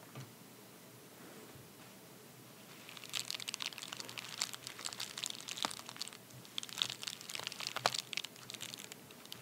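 A medium white padded paper bubble mailer, torn open at one end and lying flat on a towel, is rubbed and pressed with the fingertips and short nails of both hands. After about three quiet seconds, dense, crisp, bright crinkling and crunching starts and continues with sharp little snaps to the end.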